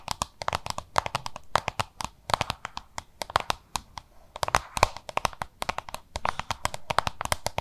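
Long nails tap and scratch a small, hollow, oval yellow-green plastic lunch box, making a rapid, uneven run of short, dry clicks. Each click has a hollow ring around 1 kHz and a bright top, then dies away almost at once.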